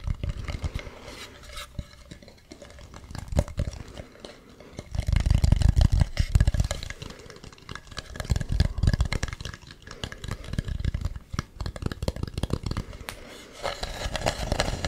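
Fingernails scratch and tap across the ribbed ridges of a hollow carved wooden mask, making a dense, irregular run of dry scrapes and short clicks over a deep, hollow low rumble. The scratching swells into heavier, fuller bursts around the middle before settling back to lighter tapping.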